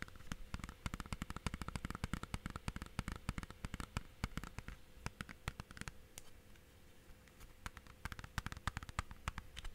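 A hollow, thin blue plastic Blu-ray/game case with a paper cover is tapped and scratched with fingertips and nails. Dense, quick, dry clicks and taps, with a low thud under them, mix with soft scratching. A faint steady hum runs underneath, and the tapping thins out briefly in the middle before picking up again.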